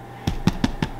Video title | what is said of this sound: Easy Homemade Bread for Beginners ~ Bread Baking for Beginners Workshop | it should sound nice and hollow for you